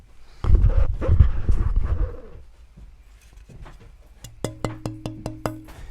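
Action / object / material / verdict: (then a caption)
tap / rosewood fretboard blank / rosewood / resonant. A rosewood fretboard blank, held lightly at the fingertips a third of the way in from each end, is tapped to show its tone, which is judged good. After a loud, low rumbling stretch of handling, a quick run of bright, evenly spaced taps rings with a clear low pitched tone. Rosewood is judged acoustically superior to ebony and easier to work, so it is recommended for a first guitar.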